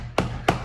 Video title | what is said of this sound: I Bought an Electric Car! Garden Update, Plastering and Finishing Windows. | no hollow sound is beautiful this is nice and solid